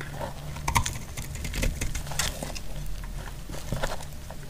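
A solid, dry cream bar soap held in the hand is scraped and cut into flakes with a utility-knife blade. Crisp, bright scraping crackles and short ticks come in quick bursts over a steady low hum.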